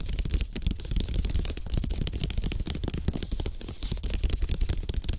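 Fingertips tap fast across the slats of a flat, thin, solid slatted bamboo placemat, possibly with some light scratching. The result is a dense, continuous patter of dry, short clicks with a heavy low thump and crisp, bright edges, each tap dying away at once with no ring.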